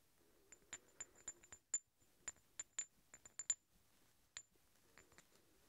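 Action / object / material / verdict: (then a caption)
strike / two steel hex bolts / steel / none. Two large solid steel threaded hex bolts are held together, their threads rubbed and clinked against each other. Fourteen short, bright metallic clicks come at an uneven pace, each carrying a faint high ring over a quiet, soft scraping background.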